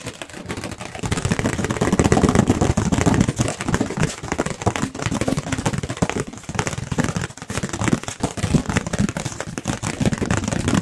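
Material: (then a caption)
Paper. A round, white, thin, hollow-backed disposable plate, likely paper, is held up close to the microphones and tapped very quickly with fingertips and nails. The result is a dense, continuous flurry of soft, hollow taps, mostly low and papery with a few brighter nail clicks. Each tap dies away almost instantly.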